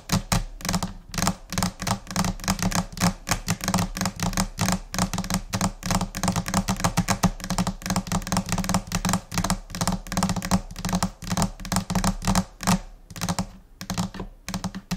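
Long painted nails and fingertips of both hands tap rapidly across a large, flat white laminate desk top, possibly laminated particleboard. The result is a dense, scattered run of short, dry clicks and soft thuds in chaotic rhythms, each dying away almost instantly, over a steady low hum.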